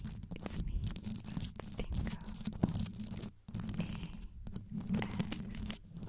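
Long yellow nails scratch fast all over the top of a black condenser microphone, whose metal mesh grille is covered in small multicolored rhinestones. The result is a dense, continuous, low-heavy rumbling scrape with sharp clicks and ticks scattered through it, pausing briefly to near silence midway before picking back up.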